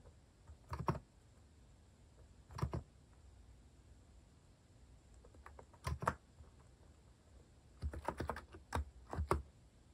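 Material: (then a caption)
Plastic. Fingertips sparsely press keys on a compact Hanmumu mechanical keyboard with a white plastic case and plastic cat keycaps while typing. Short, clacky keystrokes with a deep low thock come in scattered bursts of a few keys at a time, with quiet pauses between them. Each press dies away almost instantly.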